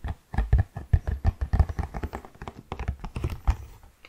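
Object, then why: Cardboard tissue box. An orange Kleenex cardboard tissue box, medium-sized and hollow, is held in both hands and tapped with the fingertips on its flat faces and side. It gives a rapid, uneven run of soft, deep, hollow thuds with almost no brightness. Each tap dies away almost at once.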